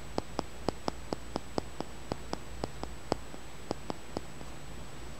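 A small, solid, smooth green polished tumbled stone, likely aventurine, is held in the fingers over a towel and tapped and scratched with the fingertips and nails. Sixteen short, sharp clicks ring out in an irregular rhythm over a low, steady background hiss, each fading almost instantly.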